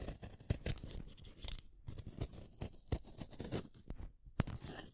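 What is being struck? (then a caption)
Wooden colored pencil in a hand sharpener. A green wooden colored pencil is shaved by the metal blade of a yellow plastic hand sharpener, one at a time. The result is a quiet, dense run of short scraping, crunchy cuts and clicks, with brief louder snaps standing out. Most of the energy sits low, and the bright hiss is faint.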